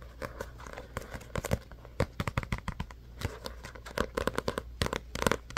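Fingertips and nails tap and scratch the glossy card cover and edges of a small paperback book held in both hands. Quick, irregular clicks and dry scraping crackles come in clusters over a steady low hum, each tap short and dying away almost at once.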